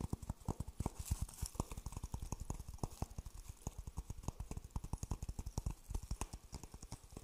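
An empty, hollow dry coconut shell half is held in one hand and tapped repeatedly with the fingertips close to the microphone. The result is a quick, uneven stream of short, dry, low hollow knocks with almost no ring, each carrying a faint bright click on top.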